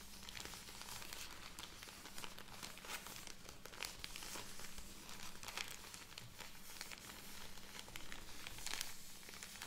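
A full plastic film bag of cotton pads is crinkled and tapped with long nails, then its top film is handled as the bag is opened. Dense, bright crinkling and crackling with sharp ticks runs continuously over a steady low hum.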